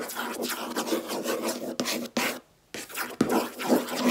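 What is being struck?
Laminate desk top.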